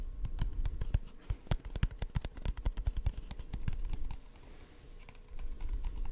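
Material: Cardboard.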